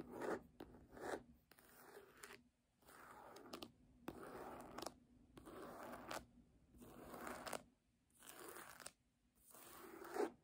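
Long nails scratch the embossed cover of a red hardcover book lying flat, giving quiet, dry, papery scraping strokes in short bursts separated by brief silences. The scratching is mostly mid-to-high and slightly rough in texture, with little low end.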